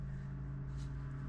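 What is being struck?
Nothing is struck.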